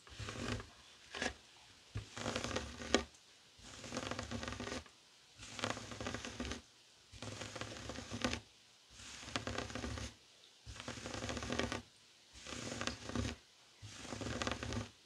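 Fingertips and short nails scratch a flat, heart-shaped woven tapestry fabric coaster lying on a wooden table. Repeated bursts of dry, rustling scratches, bright and textured with some low thump, are separated by short silent pauses.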